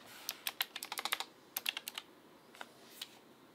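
Fingertips type rapidly on a backlit full-size Asus ROG Claymore II mechanical gaming keyboard with RX Blue switches and plastic keycaps on its housing, in a dark room. Two quick bursts of sharp, bright, clacky keystrokes are followed by a couple of isolated taps. Each click is short and crisp with almost no low end.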